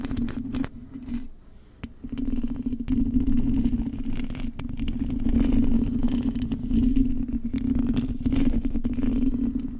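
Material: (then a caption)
Metal. Long acrylic nails tap and scratch the hollow metal mesh grille of a silver microphone, producing dense, irregular clicking and scraping over a steady low, resonant hum centered near 240 Hz. Around the one-to-two second mark the hands briefly lift off and the sound drops away before the rapid tapping and scratching resumes.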